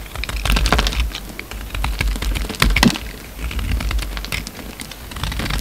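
A steel utility-knife blade carves crumbly chunks off a solid, hand-sized green soap bar with a blue rind, held in the hand. The result is a steady run of dry, crackly crunches and bright, sharp clicks over a low rumble, with a few louder snaps along the way.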